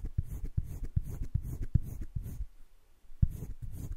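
A yellow-green colored pencil scratches shading strokes across flat cream drawing paper in a wire-bound sketchbook, filling in a drawn heart. Soft, low, dry scratches come in a steady back-and-forth rhythm, with brief bright rasps on each stroke. The strokes pause for about half a second before resuming at the same pace.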